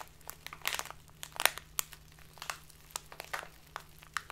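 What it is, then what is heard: Plastic bag of loose tea being crinkled. A tall, narrow clear plastic bag full of loose dried tea is squeezed and crinkled between fingers with long painted nails. It gives an irregular run of sharp, bright crackles and crunches that stop instantly, with no ring. A faint, steady low hum sits underneath.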